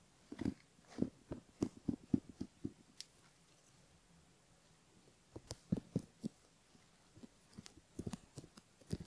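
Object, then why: Silicone ear model scratched by bamboo ear pick. A bamboo ear pick gently scratches the inner folds of the outer ear on a silicone ear model, heard close up. Short, soft, crackly scrapes come in quick bursts, centered low around 250 Hz, with a quiet pause in the middle before the scratching resumes.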